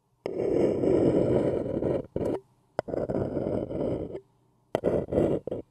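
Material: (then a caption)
Paper. A thin wooden stick scratches the outer wall of an empty, small, hollow white printed paper cup held in one hand. Long and short rasping strokes come in bursts separated by brief silences, including a sharp tick in between. The sound is a dry, hollow midrange scrape with a faint bright edge.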